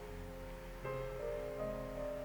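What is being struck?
Nothing is struck.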